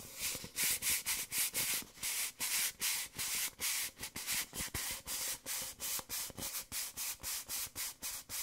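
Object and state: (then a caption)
Paper coffee cup. An empty, small, hollow white paper coffee cup is held in both hands while fingertips rub and scratch along its outer wall. The result is about 22 short, bright, papery scraping strokes in a steady rhythm, each fading quickly, with almost no low end.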